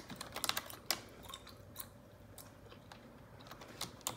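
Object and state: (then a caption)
Plastic computer keyboard being typed on. Long neon-yellow nails tap and click on the keys of a black plastic computer keyboard. Short, bright clicks come in an irregular burst at the start, then space out into scattered single taps toward the end.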